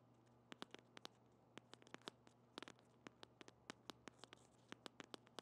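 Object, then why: Soft plastic squeeze tube tapped with fingernails. A small pink soft plastic lip balm squeeze tube, held in the hand, is scratched and tapped with long painted fingernails. Many sharp, bright clicks and scratches are heard, each dying away almost instantly, over a low steady hum.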